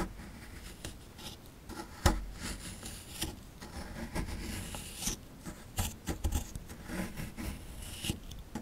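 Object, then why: Plaster excavation block. A chisel tool scrapes and picks at crumbly plaster inside a dug-out hollow of a small, solid plaster fossil dig block. Quiet, gritty scratching and rubbing carries on throughout, broken by brief sharp scrapes and taps, with one stronger knock near the two-second mark. The sound is dry and close, with most of its weight in the low end and a thin bright hiss of grit on top.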